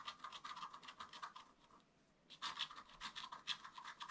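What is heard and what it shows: A wooden stylus scratches leaf details into a flat black-coated scratch art paper card with short strokes. Quick, dry, bright scratching bursts follow one another closely, fade into a brief quiet pause near the middle, then resume just as busily. There is no low rumble and no ringing after each stroke.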